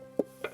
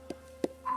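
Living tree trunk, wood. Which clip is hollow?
The first.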